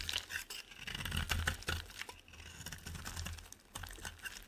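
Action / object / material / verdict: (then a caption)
scrape / solid bar of soap / soap / none. A solid white rectangular bar of soap has its corner carved off with a utility knife in fast scraping strokes, sending flakes falling. Quick, uneven bursts of dry, crinkly scraping and crunching repeat rapidly, with bright high detail over a low rumble.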